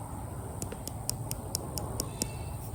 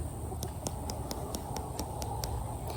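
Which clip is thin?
The first.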